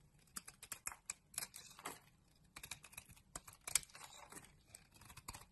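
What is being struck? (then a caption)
Soap bar carved with a knife blade. A utility knife blade scrapes and carves flakes from a solid green bar of soap embossed "Malizia" held in the hand. About twenty quiet, crisp, bright scraping clicks come in quick irregular bursts, each dying away almost instantly with little low-end weight.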